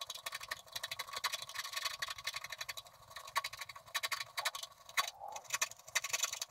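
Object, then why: Coated scratch-art card scraped with a wooden stylus. A wooden stylus scratches the lower area of a coated scratch-art card in short strokes. It makes dense, bright, rasping scratches with no low end, in quick bursts that sometimes pause briefly.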